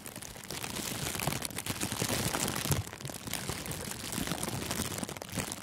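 Thin, clear plastic cellophane gift wrap is pulled over a furry microphone windscreen and squeezed and crinkled with both hands. The result is a dense, continuous crackling and rustling with many sharp, bright crinkles over a low, muffled rumble, lasting about six seconds.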